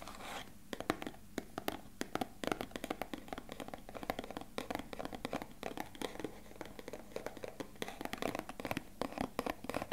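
A small, hollow, beige rectangular cardboard box is held in both hands close to the mic and tapped and scratched with fingertips and short nails. Rapid, dry, hollow taps mix with papery scratching, each tap dying almost at once.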